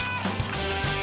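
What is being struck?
Nothing is struck.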